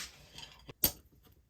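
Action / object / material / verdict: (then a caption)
tap / steel knife blade blank on a flat surface / steel / flat. A steel knife blade blank is checked for flatness again after small bends in a vise, giving only faint, short, bright clicks with no tapping left. The blade now sits flat all the way along.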